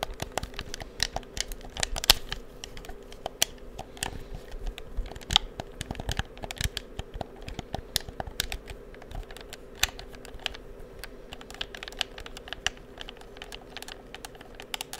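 Fingertips press and click the buttons and triggers of a black plastic PS4 DualShock controller, hand-sized and hollow, held in both hands near the microphone, and tap its shell. A steady stream of short, dry, bright plastic clicks and taps with no ring plays over a faint low hum, with a few sharper clicks standing out.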